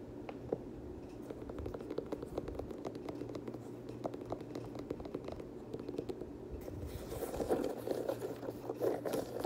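Fingertips and nails scratch and rub the leather upper and perforated panels of a black and teal Air Jordan 6 sneaker held close. A dense run of soft, dry scratching and tapping clicks sits mostly in the low-mid range. It grows louder and brighter over the last few seconds.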